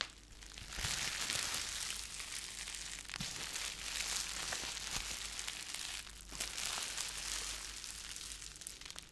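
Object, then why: Plastic bubble wrap. A small wad of clear plastic bubble wrap is held in both hands in front of the mic while fingertips crumple, squeeze and pop the bubbles. A dense, bright crinkling runs steadily throughout, with a few sharper crisp pops standing out, such as near the 1, 3 and 5 second marks.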